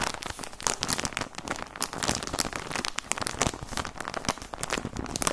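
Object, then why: Plastic sock package. Fingertips crinkle and squeeze a plastic package of white socks, making a steady run of dense, bright crackles and crinkles. The sharp, dry snaps come quickly and overlap, with no ringing.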